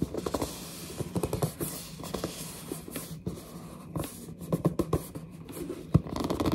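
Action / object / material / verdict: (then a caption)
scrape / printed cardboard box / cardboard / none. Long dark nails grip and scratch the front and top edge of a large, hollow, glossy printed cardboard headset box. The result is a quiet stream of dry scratching and squeaky gripping bursts with a low, boxy resonance. Sharp taps stand out near the end.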